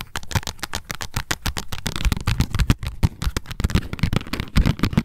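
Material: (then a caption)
Cardboard. Long nails tap and scratch quickly on a small pink printed cardboard tag lying flat, making a rapid series of short, dry clicks with light scratching between them.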